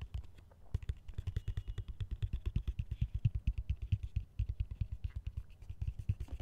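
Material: Plastic.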